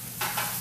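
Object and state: Crispy baked kale chips.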